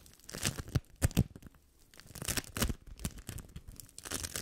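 A large lump of yellow sticky bead foam (sticky play foam) is rubbed, squeezed and scratched with fingertips and nails. It makes dense bursts of crisp crackling and crunching, with bright tearing-like rustles over soft low thumps. The sound comes in uneven clusters separated by short quieter gaps.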